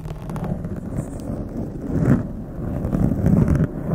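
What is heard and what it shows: Long acrylic nails scratch and fingertips rub a blue foam windscreen on a condenser microphone. The result is a steady, muffled, low rumbling scrape with soft swelling rustles, heavy in the low end and with almost no bright content.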